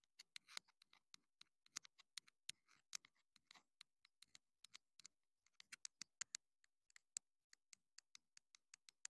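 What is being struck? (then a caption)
Plastic mini microphone transmitter. Long acrylic nails tap and scratch the casing and foam-less tip of a small, hollow, black plastic clip-on wireless mini microphone transmitter held in the hand. About 37 quiet, sharp, bright clicks with almost no ring are heard, mixed with a few short scratchy rustles.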